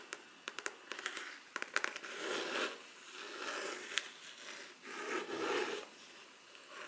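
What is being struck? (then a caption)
Rigid faux leather covered folder. Long black artificial nails slowly tap and scratch a rigid black faux leather covered folder with a grained leather-look surface, held upright. A run of sharp, dry clicks comes first, followed by softer, breathy scraping strokes that swell and fade, with one more crisp tap in between.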